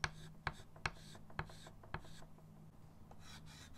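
A short pastel chalk stick is rubbed with fingertips across a small chalkboard, a dark painted board in a wooden frame lying flat on a table, to blend a bird drawing. Five sharp scratching strokes stand out over soft, steady rubbing, with a faint low hum underneath and a quieter, airy scraping toward the end.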